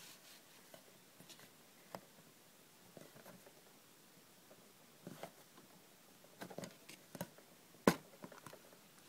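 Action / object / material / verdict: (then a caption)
scrape / small aluminium tin / aluminium / none. Long red nails scratch and rub the sides of a small, closed, hollow hinged aluminium cough drop tin, then turn it over. Quiet, dry scratching is broken by about eight short, sharp clicks and taps, the loudest one near the end.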